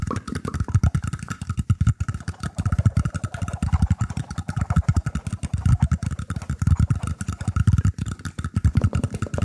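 Fingers scratch across the woven surface of a round, shallow bamboo tray held up in both hands. The result is a dense run of quick, dry scratching strokes, heavy in the low end with a faint steady tone near 1.2 kHz.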